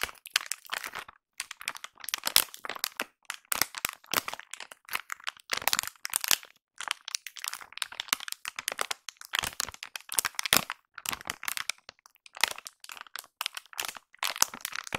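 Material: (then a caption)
Soft plastic. A seemingly full, soft blue Plenitud plastic wet wipes pack is squeezed and crinkled with fingers and long nails. The result is dense bursts of bright, crackly crinkling with sharp dry snaps and no low end. The bursts come in clusters across the clip with brief quiet gaps between them.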